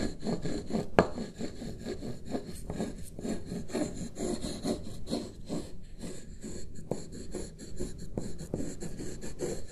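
Two wooden stick tools trace and rub across a single sheet of white printer paper lying flat on a wooden desk. The result is a steady, quiet run of soft, dry scraping strokes, mostly low and muffled, in an uneven rhythm with one sharper tick near the start.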